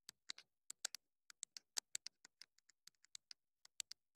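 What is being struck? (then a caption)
Small plastic wireless microphone. Long pointed nails scratch and tap the top and sides of a small black plastic wireless mini microphone with a hollow body. The result is a quick, irregular series of short, dry, bright ticking clicks with almost no low end and no ring.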